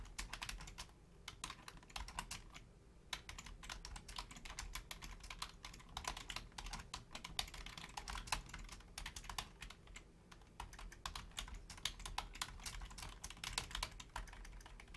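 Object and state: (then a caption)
Plastic computer keyboard. Long painted nails and fingertips type quickly on the low-profile keys of a full-size black plastic Logitech keyboard. A dense, steady stream of short, bright plastic clicks and taps fills the clip, each dying away almost instantly. A faint low rumble sits underneath throughout.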